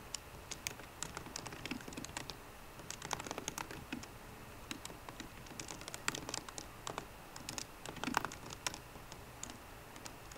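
Fingertips with short green nails type on the low-profile plastic keys of a 13-inch aluminum MacBook Pro keyboard. A steady, uneven run of quick, dry, bright clicks and taps comes through over a quiet background, each one ending instantly with no ring.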